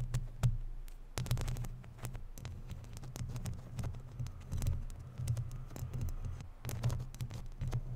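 Long natural nails scratch and tap on a hollow, round woven metal mesh microphone grille. This produces a dense, muffled low thumping and rumbling texture, peppered with quick, sharp clicks that carry brief bright edges and die away almost instantly.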